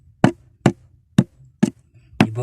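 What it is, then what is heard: Hollow-sounding rock. A rock is tapped where there is a real hole behind it, and it sounds hollow and different from the surrounding rock. Five short, dull knocks with a low body around 190 Hz stop almost at once. The last knock trails into a brief rougher, brighter noise.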